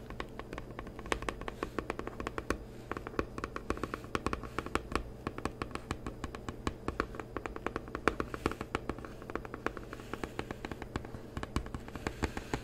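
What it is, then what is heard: Cardboard card box tapped. Fingertips and short nails tap rapidly and steadily on the top of a small rectangular printed cardboard box for a Psychic Tarot oracle deck, which lies flat on a white table and likely holds cards. Each tap is a short, dry tick with almost no ring, over a low, soft background.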